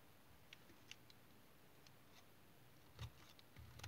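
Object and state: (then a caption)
Tar soap bar being cut. A small knife cuts and shaves pieces off the end of an oval, solid, dark brown tar soap bar held in the hand. Faint, irregular scraping clicks with brief bright ticks sit over a low, dull background. The cuts grow heavier and louder near the end.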